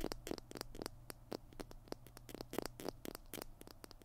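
Fingernails scratch the label and plastic body of a small white plastic PiT glue stick held in both hands. It makes a quick, uneven run of short, dry, crackling scratches and taps with bright edges, over a faint low hum.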